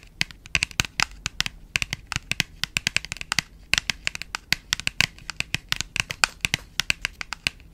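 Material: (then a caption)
Cardboard. A small printed paperboard box is held in both hands while long pointed nails tap and scratch across its surface and edges. Rapid, irregular bright clicks and brief scratchy rasps follow one another with almost no low end, and each tap dies away instantly with no ring.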